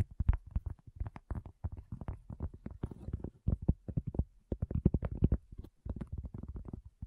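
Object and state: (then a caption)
Cork coaster. Long fingernails and fingertips tap rapidly on a solid, round, flat cork coaster in a steady, irregular stream of quick strokes. Each tap is a dull, low thud that dies away almost instantly, with no bright ring.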